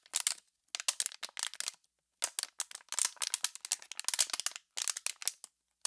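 An empty, clear, heavily crushed, hollow plastic water bottle is squeezed and crinkled by one hand with pink nails. It makes bursts of sharp, bright crackling and popping with short silent pauses between them. The sound has no low end, and each crack cuts off instantly.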